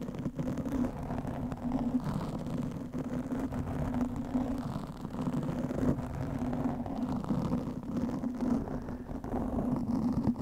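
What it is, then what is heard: Foam microphone windscreen being scratched. Long manicured nails of both hands scratch a soft, porous black foam windscreen on a large studio microphone. The result is a steady, dense, muffled scratching rumble that sits in the low and low-mid range, with a faint droning tone around 230 Hz and almost nothing bright on top. It holds at an even level with no clear pauses between strokes.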